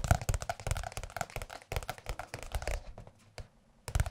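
Fingertips of both hands tap and lightly scratch the cover of a large blue glossy softcover music book. Quick, dull, bassy taps mixed with soft scratchy rustles run rapidly, pause briefly with a single tap near the 3.4-second mark, then resume at the end.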